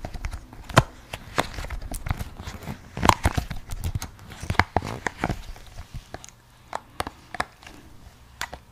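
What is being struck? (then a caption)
Silicone pop it fidget toy. A hand-sized square pink and yellow silicone pop-it fidget toy with hollow bubbles is held in both hands while long blue-painted nails and fingertips press and pop its bubbles. The result is an uneven string of short, dry pops and soft clicking taps, each with a dull low thump and a brief bright snap that dies away at once. A few louder pops stand out near the start and middle over a quiet background.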